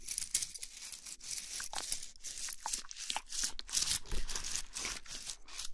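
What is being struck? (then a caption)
Bundle of thin wooden sticks. A handful of thin, solid wooden sticks, some painted red and some natural, is squeezed and rubbed between the palms and fingertips. This makes a dry, bright brushing sound with quick, irregular clicks as the sticks knock against each other, going on steadily for about six seconds.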